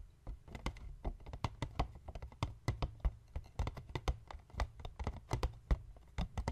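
A small, hollow white cardboard box lying flat on a wooden table is tapped with the fingertips and short nails of both hands. The result is a quick, irregular stream of dull, hollow taps with a low, muffled body, short crisp clicks from the nails, and almost no ring after each hit.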